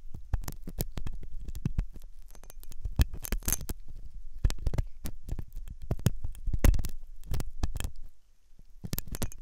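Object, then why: Silicone dummy ear, scraped with a steel hook. A steel dental hook scratches inside the ear canal opening of a white, solid, soft silicone dummy ear on a binaural microphone. Close, muffled scraping and rustling come through as a dense stream of low, thumping clicks with brief bright crackles. A quieter pause falls near the end before the scratching resumes.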